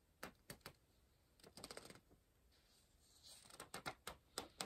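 An orange pencil tip scratches and taps rapidly on the page of an open softcover paper word search puzzle book resting on a pillow. Sharp, dry, bright ticks come in quick bursts with short scratchy runs between them, each one dying away almost at once over a faint, quiet background.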